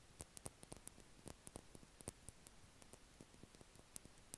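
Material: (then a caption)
Plastic. A small yellow Carmex lip balm stick with a red cap, made of plastic, is held in the fingers and tapped and scratched with the nails. Quick, irregular, dry clicks and ticks with bright, high edges rise over a quiet, steady hiss, each dying away almost instantly.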